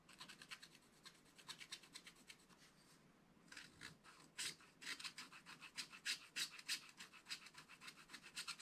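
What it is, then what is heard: Scratch-art paper being scratched. A wooden stylus scratches the coating off a black wax-coated scratch-art page, a flat solid card in a small spiral-bound book, in quick, short, unevenly spaced strokes. The bright, dry rasping has almost no low end and dips into a quieter stretch around the three-second mark. It then returns in louder, sharper scrapes.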